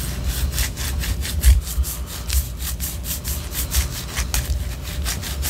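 Long orange nails scratch up and down the side of a white solid wax pillar candle. A steady run of quick, raspy scratching strokes, each a bright hissing burst, sits over a low, constant rumble.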